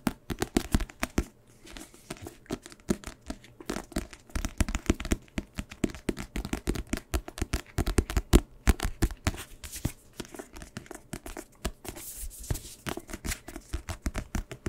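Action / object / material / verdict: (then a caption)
tap / paperback book with card cover / paper and card / none. Fingertips tap and scratch the glossy card cover and edges of a small paperback book with a solid paper block, held in both hands. It makes a dense run of quick, dry, low-heavy taps mixed with brief crinkly, scratchy rasps. Each sound dies away almost instantly.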